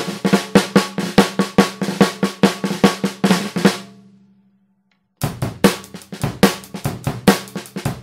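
A Tama 14x5-inch copper snare drum, with a hollow metal shell and coated plastic head, is struck with wooden drumsticks in quick tapping strokes and rolls. Each stroke has a sharp crack over a low ringing tone, and the final hits trail off into a fading ring. After about a second of silence, the rapid strokes resume.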